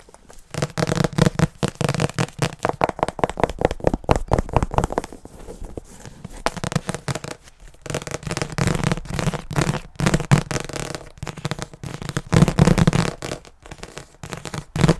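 A medium-sized paper paperback book with a glossy illustrated cover, held in both hands in front of a microphone, is tapped, scratched and gripped with fingertips and nails on its cover and edges. Fast bursts of dull, low, tightly damped taps mix with crackly, papery scratching, pausing briefly between bursts.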